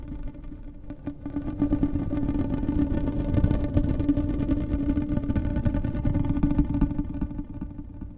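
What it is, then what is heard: Plastic corrugated pop tube. A blue, ribbed, hollow plastic pop tube about finger thickness is held close to the mic while long painted nails scratch and run along its ridges. The result is a dense, rapid ratcheting rasp with a steady tone around 290 Hz over a heavy low rumble. It swells after the first second, holds steady, then fades near the end.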